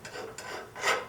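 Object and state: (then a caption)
Hardened steel chisel blade (file skates, glassy sound). A file is scraped four times across a forged steel carving chisel blade after an oil quench, making bright, raspy strokes. The file skates over the surface with a glassy sound, showing the hardening took and the steel is now hard.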